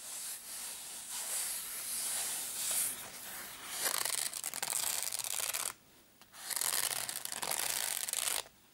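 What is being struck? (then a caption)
Padded nylon zip case. Fingernails scratch and fingertips tap and rub the fabric top of a small, hollow, black padded nylon zip case. The result is a bright, hissy scratching and rubbing that swells and fades in uneven strokes, pauses briefly near the end, then resumes before stopping.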